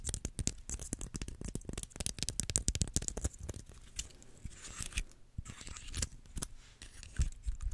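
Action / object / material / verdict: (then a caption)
scrape / dry pine cone / wood / none. A small, dry brown pine cone is held in both hands in front of a microphone while fingernails scratch and rub its woody scales. Rapid, dense dry clicks and crackly scratches fill the first half, with bright rasping edges and low thumps. The sound then eases into softer, hissing rubbing broken by occasional sharp clicks.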